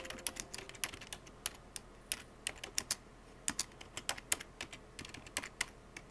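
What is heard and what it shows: Fingertips with painted nails type fast on a full-size black plastic computer keyboard with hollow plastic keycaps, pressing keys continuously. Around 30 sharp, bright clacks arrive in quick, uneven bursts, each dying away almost instantly with very little low-end weight.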